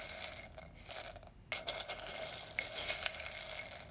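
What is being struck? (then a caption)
Roasted coffee beans in a glass jar. A wooden spoon digs and stirs through roasted coffee beans in a large, clear glass jar that is partly full and held up close. The beans rattle and scrape against the glass in a dense, bright stream of small clicks and crunches, with a faint glassy ring near 2 kHz. There is a brief lull about halfway through before the stirring picks up again.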